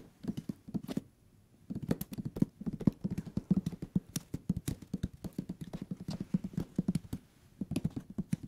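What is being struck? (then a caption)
Paper page block of a hardcover book. Fingertips tap rapidly on the page-block edges of a thick hardcover paper book held sideways, producing about forty short, dull, muted taps centered low around 190 Hz with almost no ring. The tapping runs in quick irregular bursts, with a brief pause early on before it resumes steadily to the end.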